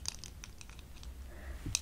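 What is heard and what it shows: A pair of eyeglasses worn on the face is tapped lightly. Short, sharp high-pitched ticks stand out over a steady low rumble, with a brighter click near the end.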